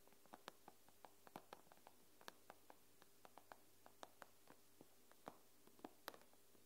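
Fingernails tap and scratch the glass screen of an iPad near its edge, producing about 23 quick, dry ticks with almost no ring. The taps come at an irregular pace, some sharper and brighter than others, over a quiet, steady low hum.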